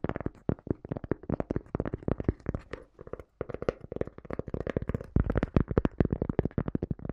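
Long dark nails tap and scratch quickly across the surface of a small, round, solid, flat cork coaster held in both hands. The taps are dry, soft and muffled, with little ring. There is a brief pause just past the three-second mark, and the tapping grows louder and denser toward the end.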